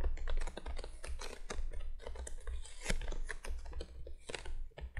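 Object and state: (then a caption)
Cardboard box, tapped with nails. Rapid, dense tapping by both hands with long nails on the face of a printed cardboard candolier box lying flat, giving quick clicky taps over a steady low hum.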